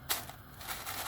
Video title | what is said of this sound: ARADIĞINIZ TARİFİ ‼️DEĞERLİ TAKİPÇİLERİM İÇİN HAZIRLADIM. BU TARİFİM KAÇMAZ. | duyuyor musunuz sesi? Bakın. Nasıl? Çıtır çıtır.